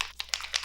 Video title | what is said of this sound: LISA ELDRIDGE SKIN TINT REVIEW - MULTI DAY WEAR TEST | you can hear the little ball in there